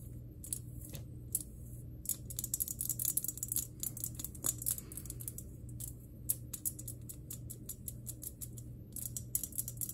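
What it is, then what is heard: Glass plasma globe. Long green nails tap and scratch across the surface of a large, hollow glass plasma globe, with the fingers spread over the glass. Quick, bright, clicky taps and short scratches come in clusters over a steady low hum.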